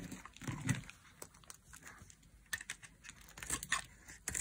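A solid, dry pink soap bar held in a hand with long painted nails has its edge carved by a thin black blade in short cutting strokes, with flakes falling off. The result is a quiet run of dry, crisp scraping and crumbly crunching sounds with bright, airy edges, separated by brief pauses.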